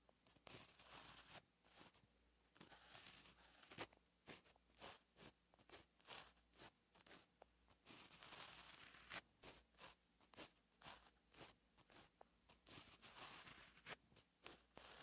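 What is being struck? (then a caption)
Gel pen on lined paper notebook page. A white gel pen writes handwriting strokes on a flat, lined paper notebook page. Its tip scratches across the paper in quick, bright, dry bursts, with short pauses between strokes.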